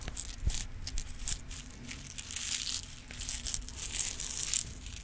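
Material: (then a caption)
Plastic. A clear plastic multi-compartment organizer box full of rhinestones is tilted and shaken so the stones rattle, and tapped with acrylic nails. The result is a dense, bright, crackling rattle of many small ticks over a low background hum, swelling and fading in uneven waves.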